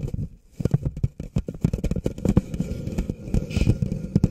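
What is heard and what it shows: An empty, thin-walled red plastic party cup of about 16 oz is held upside down over the microphone while fingertips and short nails tap and rub its base and sides. The result is a quick run of dull, hollow, low taps and crackly rubbing with almost no ring, after a brief quiet pause near the start.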